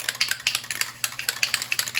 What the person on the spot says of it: Give it a shake. Got a rattle in it